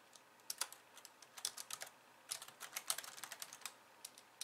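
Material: Plastic.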